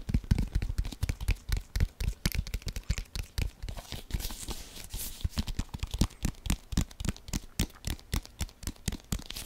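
A brown leather American football, hollow and inflated, is held in both hands while fingertips and nails rapidly scratch and tap across it. The result is a fast, continuous run of short, dull, low thumps with dry scratchy crackle, each tap dying away almost instantly, and a brief brighter scraping stretch near the middle.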